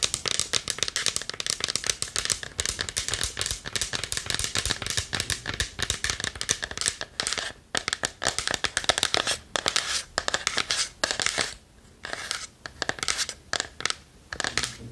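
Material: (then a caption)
Wood. Long nails tap and scratch rapidly across the wooden front of a small, hollow, varnished wooden chest held in both hands. The result is a dense stream of bright, dry clicks and scratchy rasps with almost no ring. The pattern breaks into shorter bursts with brief silent gaps toward the end.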